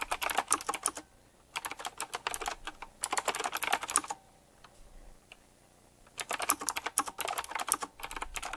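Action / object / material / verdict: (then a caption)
tap / mechanical keyboard with round plastic keycaps and metal rims / plastic / none. Fingertips type fast on a full-size retro typewriter-style mechanical keyboard with round black plastic keycaps in chrome-look metal rims, hollow key switches and a glossy black and metal frame. Bright, crisp clicks clatter in quick bursts, separated by short pauses and a longer near-silent gap before the typing resumes.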